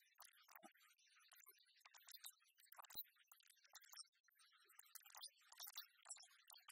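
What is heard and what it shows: A tiny, apparently full Tabasco glass bottle with a green cap and paper label is held in the fingers and tapped and scratched with long fingernails. Quiet, bright clicks and crisp scratching come in quick, irregular bursts, with almost no low end and each tap dying away instantly.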